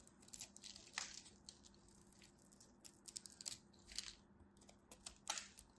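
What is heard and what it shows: A craft knife blade carves a solid green-and-white striped bar of soap, breaking off crumbly chips. The cutting and scraping make soft, bright, dry crunches and scratches in irregular bursts, with a few sharper cracks over a faint steady low hum.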